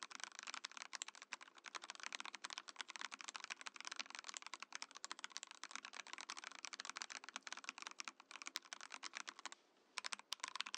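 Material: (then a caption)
Plastic. Fingertips type quickly on a compact Mojo68 mechanical keyboard with a translucent clear plastic case and plastic keycaps. A dense, steady stream of short, bright plastic clacks fills the clip, with no low end and no ring after each keystroke. The typing briefly stops just before the ten-second mark, then resumes.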